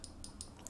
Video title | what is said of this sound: HomeGuard All-in-One Wireless CCTV Kit - 4CH/1TB Unboxing and Setup | on the lens itself it sounds like glass